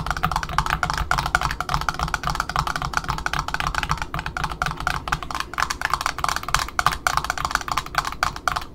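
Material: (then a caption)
Cardboard. Long fingernails on both hands tap rapidly on the cardboard end disc around the center hole of a black Offray ribbon spool resting on a table. The result is a fast, continuous run of dry, hollow clicking taps with a woody tone around 1.2 kHz and a light low thump beneath. Each tap stops almost instantly with no ring.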